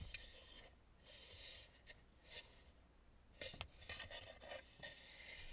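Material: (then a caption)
Wood. Long nails and fingertips rub and tap across the painted face of a red, hollow, carved wooden mask lying face up. The result is quiet, bright scratchy rubbing, with several sharper tap-like clicks standing out, the strongest around the middle of the clip.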